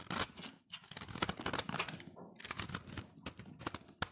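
A solid cream-white embossed soap bar, held in the hand, is shaved with a utility knife blade. Dense, dry scraping and crinkly cutting strokes come in quick bursts with bright, crisp edges. There are two brief pauses early on before the shaving resumes.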